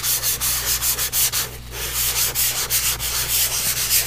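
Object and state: Pastel rubbed on a paper sheet.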